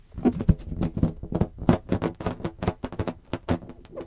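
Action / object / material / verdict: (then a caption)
scrape / inflated latex balloon / latex / none. Fingertips rub and scratch the surface of a large, hollow, inflated blue latex balloon held in both hands around the mic. The result is a rapid run of short, dull squeaks and scratchy taps with a low, hollow boom underneath, each dying away almost at once.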